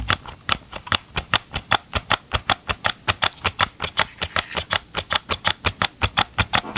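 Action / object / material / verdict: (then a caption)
tap / hollow plastic chainsaw engine housing / plastic / none. Gloved fingertips tap and scratch the hollow green and gray plastic engine housing of a Ryobi chainsaw held close to the microphone, making about 35 quick, dry clicks at a fast, slightly uneven pace. Each tap is bright and crisp with almost no ring, over a faint scratchy rustle between hits.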